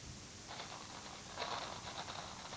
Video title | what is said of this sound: Crazy Quilt + Bumpers | if you turn it really slowly, sounds like water. Sounds like the rain